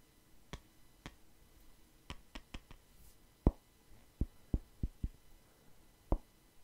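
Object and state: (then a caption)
Wooden hair brush. Fingers tap and scratch the wood of a wooden paddle hair brush with bristles, held beside the mic. Twelve soft, dull taps with very short decay come at an uneven, unhurried pace. The first taps are faint clicks and the later ones are deeper, low thuds, all over a quiet background.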